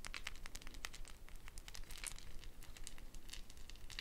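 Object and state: Gourd shaker with wooden bead net.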